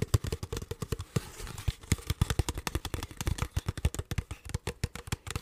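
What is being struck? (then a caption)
Ridged plastic water bottle. An empty, hollow, clear ridged plastic water bottle with a blue cap is crinkled and tapped with fingertips and nails. It makes a rapid, steady run of short, dry, low-pitched taps and thuds with a light crinkling crackle. Each hit dies away almost instantly.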